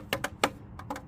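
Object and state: Plastic wheel cover on alloy wheel, knocked.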